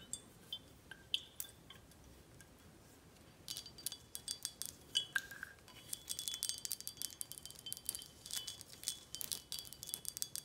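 Long acrylic nails tap the glass body and the label of a tall, full, red glass Corralejo tequila bottle held in the hand. Soft, sparse clinks with a ringing tone near 1.6 kHz give way after a few seconds to denser, rapid, bright tapping. Each tick is quiet, short and crisp, with almost no low end.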